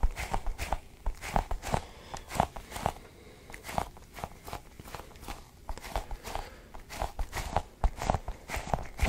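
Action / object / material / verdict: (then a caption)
tap / sticky rubber ball cluster toy / rubber / none. A cluster of colored, sticky rubbery balls is squeezed and pulled by fingers. The result is a steady run of soft, dull, tacky taps and peeling pops with low thumping weight and a little bright detail. Each sound dies away almost instantly.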